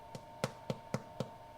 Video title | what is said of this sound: Pain sans gluten en 2h 👨🏻‍🍳 Une recette de pain sans gluten simple à la maison ♨️ #glutenfree | à la fin de la cuisson à vous regarder si ça sonne bien